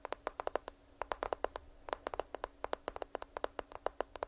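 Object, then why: Smartphone in a plastic case. A smartphone in a black case, held horizontally close to the microphone, has its back tapped with long nails. Rapid, crisp, clicky taps with a hollow midrange tone around 600 Hz and almost no ring follow one another in quick, uneven bursts, with a few short pauses in between.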